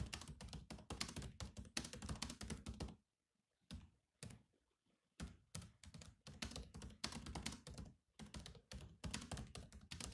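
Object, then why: Laptop keyboard, plastic keys. Fingertips type continuously on the black plastic keys of a silver laptop, producing rapid, short clicky taps with a low thunk and bright click on each press. After about three seconds the typing thins to a few scattered taps, then resumes at a steady, quick pace for the rest of the clip.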